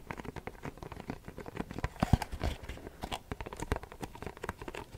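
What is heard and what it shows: A printed Versace perfume cardboard box, held in both hands, is tapped and scratched with short fingernails. A rapid, uneven series of soft, dull taps and brief scratchy crackles follows, mostly low and muffled, with each hit dying away almost instantly.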